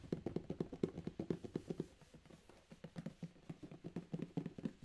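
The fingertips of both hands tap and drum on a closed, medium corrugated cardboard Amazon shipping box with tape and labels, its contents unseen, before the box is held up. About 25 quick, dull, hollow thuds sit in the low-mid range with no ring. A brief softer stretch in the middle gives way to another burst of drumming.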